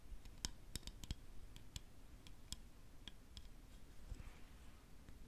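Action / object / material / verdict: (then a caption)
tap / lacquered wooden spoon / wood / none. Long nails tap a large, solid, Khokhloma-painted lacquered wooden spoon, first along the handle and then on the back of its red and gold bowl. About eleven short, dry clicks sound with no ring, each a bright tick over a soft low rumble.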